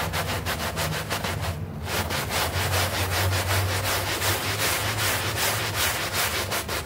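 A hand brush scrubs a small, foamy green synthetic turf doormat while the other hand holds its edge. It makes a steady, rhythmic scratchy rasp with bright bristle hiss over a low hum, pausing briefly just before two seconds. The scrubbing then continues at an even, brisk pace to the end.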